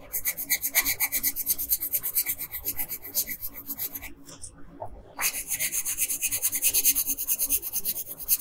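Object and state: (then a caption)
Colored pencil scratching on a paper sheet. A wooden colored pencil, held in a hand with long pink nails, scratches in small quick strokes across a thin paper coloring sheet lying flat on a table. The rapid, bright, raspy strokes pause briefly near the middle, then resume at the same steady pace to the end.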